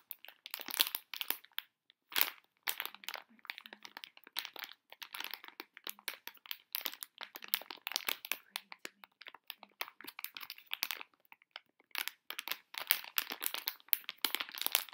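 A sealed Tokidoki Moofia foil blind bag with a plush toy inside is held in both hands and squeezed and crinkled by fingertips with long nails. Dense bursts of bright, crackling foil crinkles come in quick clusters separated by short pauses, with almost no low end.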